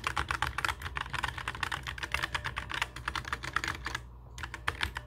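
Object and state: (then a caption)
Plastic mechanical keyboard. Both hands type with their fingertips on a black mechanical keyboard with plastic keycaps resting on a wooden desk. The result is a rapid stream of short, sharp, bright clacks that stops briefly near the four-second mark before a few final keystrokes, all over a steady low hum.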